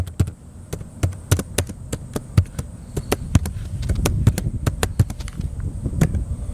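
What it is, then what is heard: Plastic laptop keyboard being typed on. Fingertips of the right hand type on the plastic keys of a small blue plastic laptop with a hollow chassis, resting on a metal picnic table outdoors. An uneven run of quick taps lands as short, dull thuds with a low hollow body and a brief bright tick on each key. A faint steady high hiss runs underneath.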